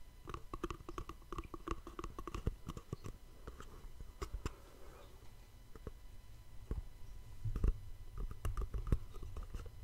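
A small, hollow white cardboard gift box is held in both hands above a microphone and tapped and scratched with fingertips and nails. Quick, dry taps and clicks come in irregular bursts, with soft scratching between them. A low, hollow thump carries under the taps.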